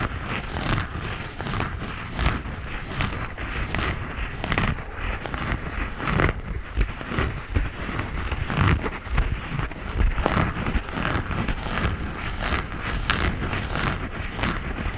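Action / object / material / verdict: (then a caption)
scrape / knit textile sneaker upper / knit fabric / none. Fingertips and nails scratch the knit upper of a grey knit textile sneaker held in the hand. The result is a steady, close, dry scratching and crackling texture with quick brushy strokes, a dull low rumble beneath, and faint bright rasp on top.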